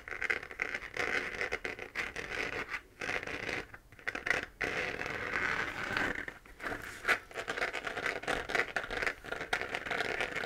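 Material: Plastic.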